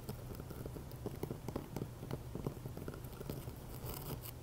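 Medium-length fingernails scratch and tap the rough sides of a fist-sized, solid, pink Himalayan rock-salt candle holder with an empty hollow on top, standing on a ring of coffee beans. A steady, gritty scratching runs under quick, dry, low clicks that stop almost at once, with faint bright crackle above.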